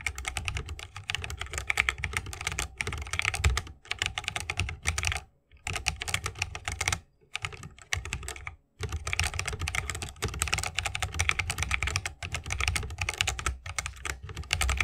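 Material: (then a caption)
Bamboo, plastic. A 60% mechanical keyboard with a bamboo wood case, plastic keycaps and tactile switches is typed rapidly with the fingertips of both hands. The result is dense runs of bright, short clicky key presses over a low thock, with a few brief pauses between bursts.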